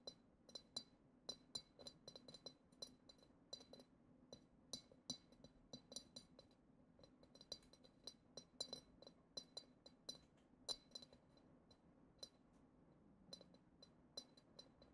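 A long acrylic nail taps the bowl of a hollow, clear, glitter-decorated glass goblet, making a quick series of bright, short clinks with a steady high ring. The taps come unevenly over a quiet low hum, some close together and a few louder than the rest.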